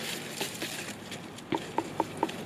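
A large butternut squash, found hidden in the undergrowth, is tapped in a series of short, dull knocks with a hollow tone around 900 Hz that die away almost at once. It sounds hollow but is still a bit green on one side, so it is left on the plant a little longer.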